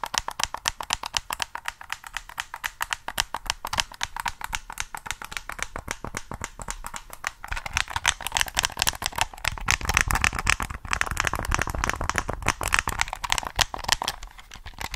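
Fingertips tap rapidly on the body of a hollow black plastic PS3 controller while it is handled and turned in the hands. The result is a fast, uneven stream of short, dry, bright clicks and taps that die away almost instantly. The taps grow louder and fuller, with more low-end knock, in the second half.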